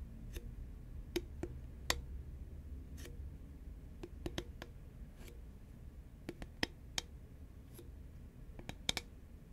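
Long nails tap a hollow green Pringles paperboard tube held at an angle, making sharp, dry, scattered clicks with a bright top. Each tap dies away almost at once, over a quiet low rumble.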